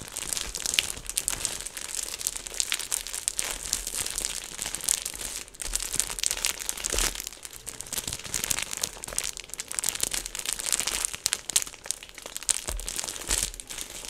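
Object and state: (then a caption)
Plastic snack bag being crinkled. A hand-sized, flexible orange printed plastic/foil snack packet, apparently filled, is held in both hands and crinkled and squeezed with the fingertips. It makes a steady stream of dense, bright crinkling and crackling with sharp snaps, mostly high-pitched and with little low end, for about fourteen seconds.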